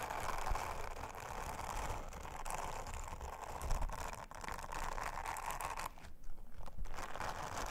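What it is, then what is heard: Silicone honeycomb trivet being brushed. Long-nailed fingers rub an orange silicone bristle scrubber over a round, flat, thin blue silicone honeycomb trivet. The result is a steady, dense, crackly brushing and rubbing texture with a heavy low rumble and quick scratchy ticks, easing briefly near the six-second mark before resuming.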